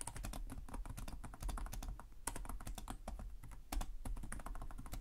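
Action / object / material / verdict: tap / plastic laptop keyboard / plastic / none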